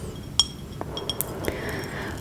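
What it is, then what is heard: Porcelain bowl. A hand-painted porcelain breakfast bowl, decorated with raspberries and with green stripes on the outside, is handled, giving five light, high-pitched clinks. Each is bright and chiming, around 3.3 kHz, and dies away almost at once. The bowl's glaze cracks in the dishwasher.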